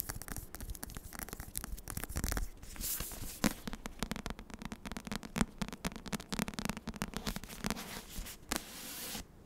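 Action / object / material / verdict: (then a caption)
scrape / paperback book with cardstock cover / cardstock / none. Long nails scratch along the spine of a Dance of Thieves paperback book, then move to its cardstock back cover. The result is a dense run of dry, rapid scratching and rasping with a bright, hissy edge over a low, steady hum, broken by sharper clicks and taps.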